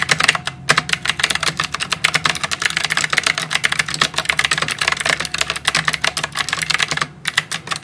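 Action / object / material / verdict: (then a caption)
tap / plastic mechanical keyboard with round typewriter-style keycaps / plastic / none. Both hands type rapidly on a full-size white mechanical keyboard with round plastic typewriter-style keycaps and RGB backlight, resting on a desk. Bright, sharp clicky keystrokes patter in a dense, steady stream with brief pauses near the start and end.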